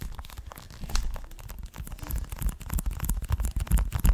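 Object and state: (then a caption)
Plastic game case. A closed, hand-sized, hollow green plastic Xbox One game case for Forza 6, in a clear plastic sleeve, is scratched and tapped with fingertips and nails. Crinkly, rustling scratches mix with dull, low tapping thumps at an uneven pace, growing louder and denser toward the end.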